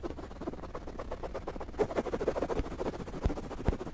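Fingertips and nails scratch and rub a soft white fabric throw pillow with lettering and pom-pom trim close to the microphone. The result is a steady run of quick, uneven, muffled scratching strokes, dull and low with almost no bright edge, and a few slightly harder rubs stand out near the end.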